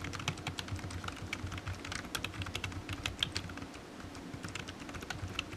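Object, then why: Plastic computer keyboard keys. Fingertips type steadily on a low-profile black plastic computer keyboard resting on a desk mat, its hollow keys giving quick, bright clicky taps in a continuous irregular stream. A steady low hum sits underneath the tapping throughout.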